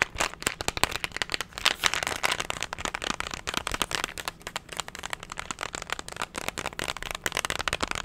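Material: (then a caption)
Plastic. A hollow, hand-sized cylindrical plastic candy tub with a label is tapped and scratched rapidly with fingernails. The result is a dense, continuous stream of sharp, bright clicks and crackly scratching, mostly high-pitched with almost no low end.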